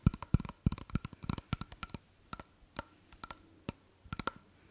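A small hollow glass perfume bottle with a cap is held in the hands close to the microphone while fingertips and nails tap and handle it. About 21 short, dry clicks and taps come at an irregular pace, with low knocks early on and a faint glassy ring near 1.3 kHz. The taps are crisp and die away almost instantly.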